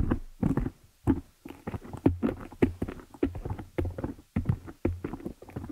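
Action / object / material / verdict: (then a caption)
tap / metal mesh microphone grille / metal mesh / none. Long fingernails of both hands tap and scratch the dark metal mesh grille of a large, hollow Blue Yeti-style desktop condenser microphone. The result is an irregular stream of dull, boomy thumps and short scraping patters, heavy in the low end with little brightness, each tap dying away almost at once.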